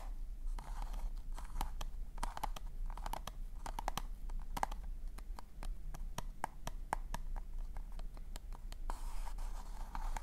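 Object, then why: Paper cone party hat. Fingertips and nails tap and scratch the surface of a hollow pink polka-dot paper cone party hat held close to the mic. A steady run of crisp, dry taps with a hollow papery ring around 800 Hz alternates with soft scratching passages at the start and end. A constant low hum sits underneath throughout.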